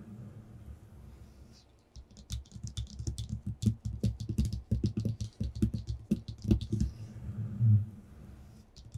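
Short bare fingertips with short nails tap and scratch on a flat, thin white sheet of paper lying on a table. After about two seconds of near quiet, a dense run of quick, dry taps with dull low thumps and bright crisp clicks follows, mixed with papery scratching. The sound then eases back to a soft rustle near the end.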